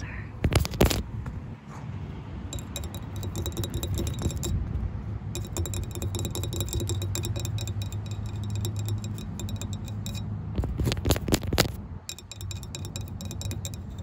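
A flat, solid, palm-sized orange-bronze anodized aluminum JDMSPEED tow hook ring with a large center hole, mounted on a car over wood-chip mulch, is tapped with long white acrylic nails and fingertips. Rapid, irregular, light clicking taps with very short ring sit over a steady low hum, with louder, brighter bursts of tapping near the start and again around eleven seconds.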